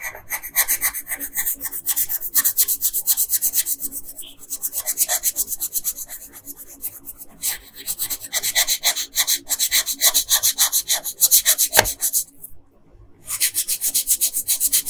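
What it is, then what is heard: Colored pencil on paper. A yellow wooden colored pencil, held by a hand with long pink nails, is rubbed in short, quick strokes over the hair area of a flat printed paper coloring page lying on a table. The result is a steady, bright, dry scratching that repeats at a brisk pace. It pauses briefly for a moment near the end before resuming.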